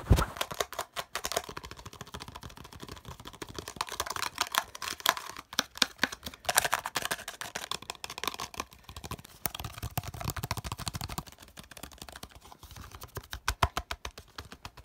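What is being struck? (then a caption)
Small hollow plastic slotted holder. A small, hollow, bright green plastic holder with slotted openings is held in the hands while fingertips and nails tap and scratch quickly across its surface. The result is a dense, fast run of short, dry clicks and scratchy rasps with a bright edge and almost no ring, ebbing and swelling in bursts throughout.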